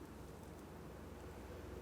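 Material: Nothing is struck.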